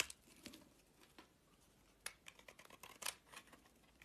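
A solid white soap bar held in the hand has its edges shaved and scraped with a utility-knife blade. The strokes come as a quiet, irregular series of short, crisp, bright scrapes with almost no low end, each dying away instantly.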